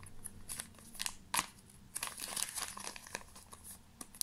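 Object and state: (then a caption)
Plastic pouch being crinkled. A small black glossy plastic pouch is crinkled and rubbed between the fingers. Bright, crackly rustles come in quick uneven bursts over about four seconds, with a few sharper crunches standing out.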